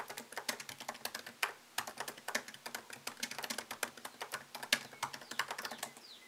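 Fingertips type on a MacBook Pro laptop keyboard with plastic keycaps set in an aluminium body. The steady, irregular run of quick, light clicks is bright and crisp, with almost no low end. Each keystroke dies away almost at once.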